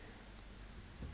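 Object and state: Nothing is struck.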